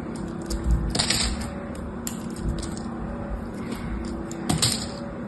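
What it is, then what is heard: Bar soap being carved. A small metal knife carves and scrapes a blue solid bar of soap held in the hand, making dry, crisp scratching and crackling as chunks crack off. Brief bright snaps stand out over a continuous low, rumbling bed, with the loudest cracks early and again near the end.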